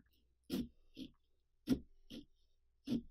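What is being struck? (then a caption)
Pumpkin rind. A small carving saw cuts and scratches through the thick rind around the eye of a large hollow pumpkin, with the other hand pressed flat on the pumpkin. Five short rasping strokes are heard, alternating louder and softer, each with a hollow low-mid body and a faint bright scrape.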